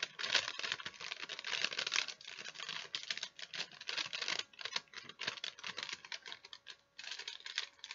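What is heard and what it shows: A thin folded sheet of wax paper is held in both hands while long nails tap and scratch it and fingers crinkle it. The result is a dense run of quick, bright, dry crackles and clicks with almost no low end, broken by short pauses near 4.5 and 7 seconds.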